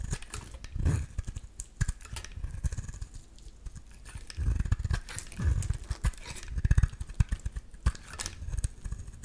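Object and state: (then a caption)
Green bar soap being scraped. A solid green bar of soap is cut and scraped with a metal utility-knife blade, shaving off chunky flakes. Many short, dull scraping and crunching strokes with very little ring, mostly low and muffled, with some brief bright clicks.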